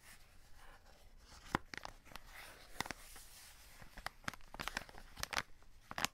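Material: Plastic film.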